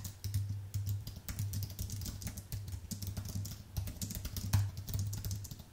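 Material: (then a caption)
Plastic. Fingertips type rapidly on a white Apple full-size keyboard with an aluminium base and plastic keys, then the hands come to rest below the keyboard. The typing is a quick, uneven stream of short, bright clicks, with a steady low hum near 100 Hz underneath throughout.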